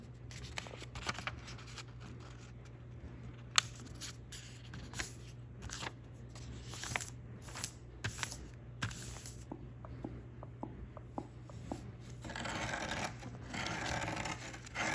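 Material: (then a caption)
Paper. A thin 6-inch sheet of patterned chiyogami paper is folded in half on a wooden table while fingertips press and run along the crease, rubbing the paper. Quiet papery crinkles and short, sharp ticks sound over a faint, steady low hum. Near the end they give way to a louder, continuous bright rubbing hiss.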